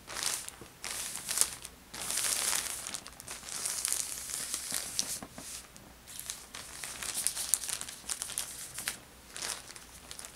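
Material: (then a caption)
Plastic. Fingertips with painted nails press, smooth and fold a thin, empty orange Ulta Beauty plastic shopping bag with a die-cut handle as it lies flat on a patterned bedspread, beside an untouched crumpled tissue. The result is bright, papery crinkling in uneven bursts with sharp crackles and brief quiet gaps, almost no low end, and a close, dry sound.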